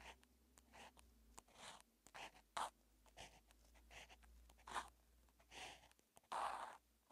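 A felt-tip marker held by hand writes characters on a flat paper grid notebook page in a calligraphy notebook. Short scratching and rubbing strokes come one after another, broadband and bright, with a low steady hum underneath. A few strokes stand out louder than the rest.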